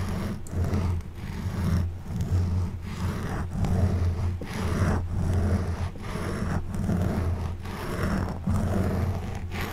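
An orange plastic back scratcher, held from above, repeatedly scratches and rubs a black foam windscreen on a silver condenser microphone. The result is a continuous, low, muffled rasping scrape that swells and dips in rough rhythmic strokes, with a deep rumble and little high-end content.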